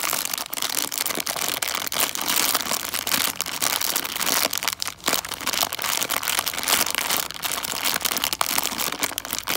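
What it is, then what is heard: Plastic bag of foil-wrapped chocolate coins. A full plastic bag of foil-wrapped chocolate coins is held in both hands, crinkled and scratched with long dark nails. The result is a steady, bright crinkling and scratching with dense, crackly textures and little low end, running continuously for the whole clip.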